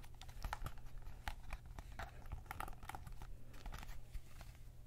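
Fingertips work the thumbsticks and buttons of a white PS5 DualSense controller, a hollow plastic shell held in both hands, then rub and tap along the side of the shell. Quiet, rapid plastic clicks and soft taps, with brief bright ticks, sit over a steady low hum. Each click is short and dry, dying away almost at once.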